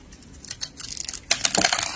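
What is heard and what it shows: A utility-knife blade shaves and scrapes curling flakes off a palm-sized solid yellow soap bar with colored sprinkle decorations, held in a hand with long painted nails. Soft, bright scraping and crackly shaving strokes start quietly, then grow into a louder, denser burst of crisp flaking.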